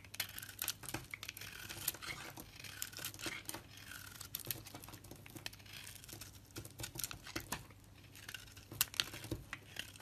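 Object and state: Bar soap being shaved.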